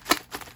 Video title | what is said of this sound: $30,000 Pokémon SCAM!!! 1st Edition Jungle Booster Box !! 2020 Buyers Beware! RESEALED WOTC BOX | you could feel like cards are smacking at the back of the cardboard here